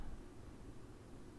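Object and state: Nothing is struck.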